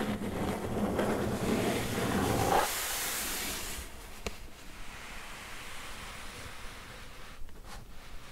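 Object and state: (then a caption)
Cardboard box scratched with nails. Long nails scratch and rub the side of a medium, hollow, closed corrugated cardboard box, then move to its top surface. A dense, rough scratching with a low, hollow body gives way to a brighter, airy hiss. It then settles into quieter, softer rubbing with one sharp tick and a few faint scrapes near the end.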